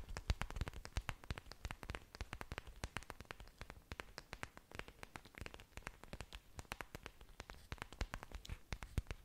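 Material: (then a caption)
Plant leaf. Long dark nails and fingertips tap and scratch the surfaces of several broad, thick, waxy green orchid leaves with dangling roots, held close to the mic. Dense, rapid, crisp clicks and taps sound in a steady stream, each one short and dry with a low thump and bright edges. The tapping continues unevenly throughout, with a few sharper, louder taps standing out.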